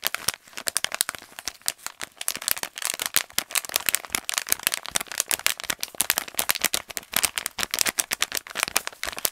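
A brown kraft paper pouch held in both hands is crinkled and tapped quickly with the fingertips and nails. The result is a dense, continuous stream of sharp, bright crackling taps and crinkles with almost no low end.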